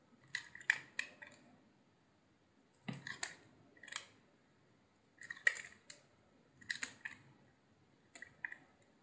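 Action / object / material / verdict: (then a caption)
scrape / soap bar cut with a knife / soap / none. A utility knife carves thin slices from a hand-sized, solid cream-white soap piece with a blue edge. Six short clusters of crisp, bright scraping and cracking cuts sound at a quiet level, each snap dying away almost instantly. Silence separates each group of strokes.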